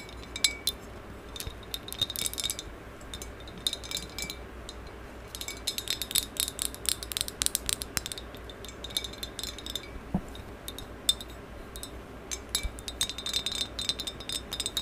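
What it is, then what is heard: Glazed ceramic vase tapped with long nails. Long yellow acrylic nails tap and scratch the outer surface of a medium maroon glossy ceramic vase with a black band and a flared rim, which is hollow and looks empty. Quick, bright clicks and clinks come in uneven bursts, with a ringing tone near 3.6 kHz, over a soft scratchy hiss. Each tap dies away almost at once.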